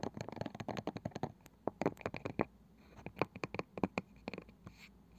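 Long nails tap and scratch the light wooden lid of a small round wooden box with a woven cane side, likely hollow. A rapid run of short, dry taps and scratchy rasps comes in uneven bursts with brief pauses between them. Each tap dies away almost at once, with no ring.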